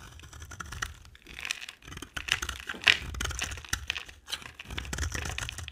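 A hand with long dark nails holds a solid rectangular bar of dry soap, orange on the outside with a cream core, and shaves it with a utility-knife blade. Each stroke makes a dry, bright, crackly scraping sound in quick bursts. Curls of soap fall onto a white table.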